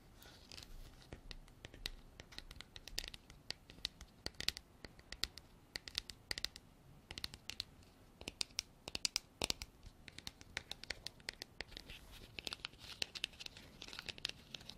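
Long black artificial nails scratch and tap the textured surface of a hand-sized, white, frosted, hard plastic container that is hollow and appears empty. The sound is a quiet, steady run of bright, dry scratching, broken by many sharp, clicky taps that stop instantly.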